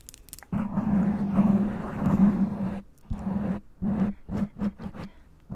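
Long acrylic nails on both hands scratch and tap a soft, hollow black foam windscreen covering a black microphone. A muffled, low rustling scratch runs for a couple of seconds, then gives way to a series of short, dull, thumping taps and brushes with little brightness.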